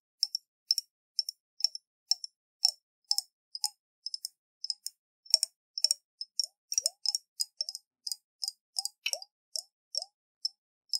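A round, hollow glass jar with a metal lid and water inside is shaken in the hands, making the water slosh. Dozens of short, bright clicks and plops in quick, uneven bursts ring briefly against the glass, with faint lower drips under the high sparkle.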